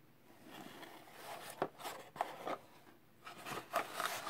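A small, hollow, closed kraft cardboard product box for an Arteck car mount is held and turned in gloved fingertips, rubbed and handled. Soft, dry papery rubbing and scraping rises and falls, broken by six short, hollow taps and scuffs with a midrange body around 600 Hz and a bright edge.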